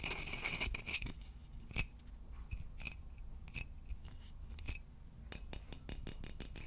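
Fingertips tap a hollow, polished wooden vase close to the microphone, then tap around its neck while it is held up. The result is a quick series of short, crisp clicks with a bright ring near 2.6 kHz that dies away almost at once, over a low, steady background.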